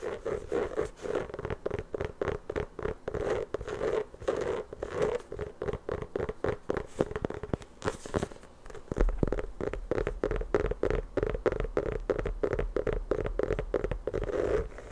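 Long nails rapidly scratch and tap the pebbled surface of an inflated, hollow rubber basketball. The result is a dense stream of short, dry scratching and tapping sounds with a muted mid-range body, and a steady low hum joins partway through.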